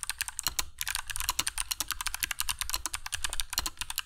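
Fingertips of both hands type continuously on a compact black mechanical keyboard with dark PBT plastic keycaps and Kailh Box Jade switches, resting on a cork desk mat. A rapid, steady stream of sharp, bright clicks rings out, centred around 2.8 kHz, with a soft low thud beneath each keystroke. Each click decays almost instantly.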